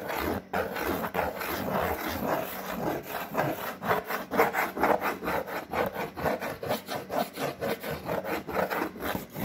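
Long painted fingernails scratch and rub across a large flat brown corrugated cardboard sheet. The result is a dry, papery rasping in steady back-and-forth strokes that grow more rhythmic over time, with a bright hiss over a midrange scrape.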